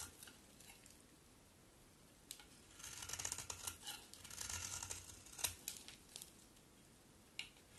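A utility knife blade shaves curls from a solid pink soap bar with a textured face. Quiet, bright scraping and crisp crinkling strokes build into a denser run of shaving in the middle, with a few sharper clicks of the blade between quieter passes.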